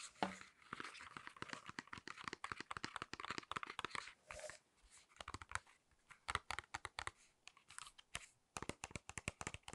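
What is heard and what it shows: Long acrylic nails tap and click on the front of a small, flat cardboard false eyelash package, a card with a clear plastic blister holding false eyelashes. Quiet, rapid, dry clicks and light plastic crinkles come in uneven bursts, each snapping off almost instantly, with a bright, papery edge and little low end.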